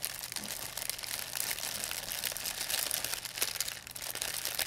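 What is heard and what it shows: An empty, thin white plastic pharmacy bag is crinkled and squeezed in both hands with long nails. It gives a continuous, bright, crackling crinkle with dense quick snaps and almost no low end.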